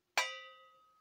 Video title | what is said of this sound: Töne bewusst und sauber beenden - Klang und Luftführung - optimieren und besser Trompete spielen 🎺 | si je n'ai pas de bosses ou de déformations ici, alors ça sonne quand je le frappe